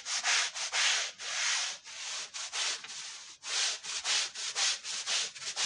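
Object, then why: Wool Persian rug scrubbed with a push brush. A long-handled push brush scrubs a foamy, woven, dirty wool Persian rug with about nine back-and-forth strokes, roughly two per second. Each stroke is a bright, airy bristle hiss with no low rumble, separated by short pauses.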